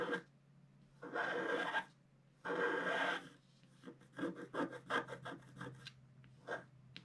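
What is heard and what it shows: A wooden stylus scratches through the black coating of a flat scratch art sheet while drawing a figure's legs. Two long, raspy scraping strokes are followed by a series of short, quick scratches, all over a faint steady low hum.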